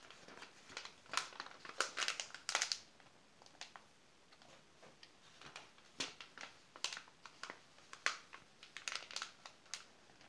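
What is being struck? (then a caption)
Glossy paper magazine pages. A flat hand presses and rubs the pages of an open glossy paper magazine, and fingertips sweep over the spread between page turns. Bright, crisp crinkling and rustling bursts come in uneven clusters with little low end. A quieter stretch in the middle holds only faint brushing.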